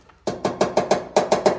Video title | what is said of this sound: Just installed the Holley efi tank on this Ls swap 62 impala 5.3 4l60e holley exhaust manifolds | it sounds hollow so never estimated knock on this one damn near hollow but sometimes they're not empty